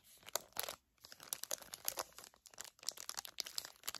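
Long nails crinkle and scratch a flat, clear-and-printed plastic package holding two gel eye pads. Quiet, dense, bright crackles and scratches come in quick bursts with brief pauses, with almost no low end and no ring after each sharp snap.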